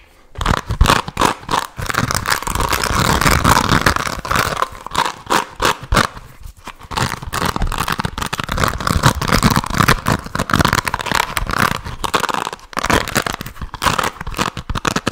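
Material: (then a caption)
Plastic. Fingertips scratch and strum across the dense pin-bristle cushion of a handheld black plastic paddle hairbrush, held away from the microphone. The result is a steady stream of dry, crackly scraping bursts with a rough midrange texture, broken by brief quiet gaps before resuming.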